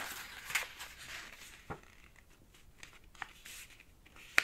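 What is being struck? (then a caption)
Folded paper sheet. Fingertips rub firmly along the folds of a green origami paper sheet, folded into a flat rectangle on a black cloth-covered table, to sharpen the creases. A soft, bright papery rustling and swishing runs throughout, broken by four sharper crisp ticks that die away almost instantly, the last one the loudest.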